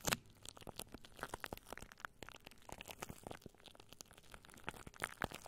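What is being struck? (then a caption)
Plastic cling film. Long nails scratch downward over clear, crinkled plastic cling wrap stretched over a microphone. The result is a dense run of short, bright crinkling and crackling sounds with quick tearing-like scrapes. A few sharper pops stand out at the start and near the end.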